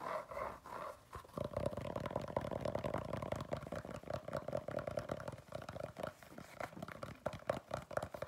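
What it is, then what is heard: Rubber shoe sole scratched. Fingernails scratch the tread of a black patterned rubber shoe sole held close up, making a dense run of quick, rough scraping strokes. A steady tone around 580 Hz hums beneath the scratching, and the sound sits mostly in the low and middle range with very little high brightness.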